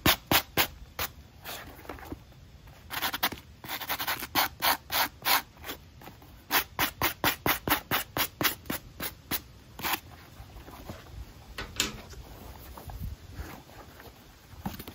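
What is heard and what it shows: A small dark brush is rubbed over the white foam sole edge and black mesh upper of an empty running shoe held in hand. The result is a series of short, bright, dry scratching strokes in quick uneven bursts, with quieter rubbing between them.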